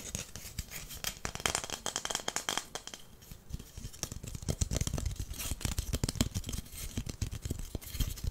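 A long, flat, solid wooden incense holder is held in the hands and tapped and scratched with fingernails on its top and edges. Quick, dry, woody taps with almost no ring come in a steady, rapid stream, mixed with bright, raspy scratching. The taps carry a low, hollow thud beneath the scratchy high texture.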